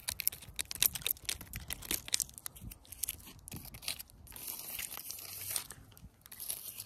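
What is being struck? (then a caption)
Fallen tree branch with rough bark. Long pointed artificial nails tap and scratch along the rough, lichen-covered bark of a thick, solid fallen tree branch lying on grass. Quick, bright clicks and crackly scratches come first, then give way to a steadier, hissing scrape in the second half.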